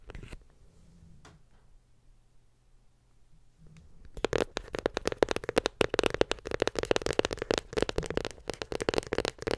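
Long nails tap rapidly on a closed, small white glossy cardboard iPhone 7 Plus box. A few seconds of near silence with a low hum and faint ticks give way to a dense run of crisp, bright clicking taps. The taps carry a hollow midrange tone and continue to the end.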